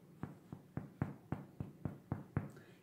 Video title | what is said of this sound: PÃO DE CEBOLA SEM TRIGO (sem glúten, sem lactose, sem caseína)! | você retirar o pão da forma e fizer um som oco, ele está assado.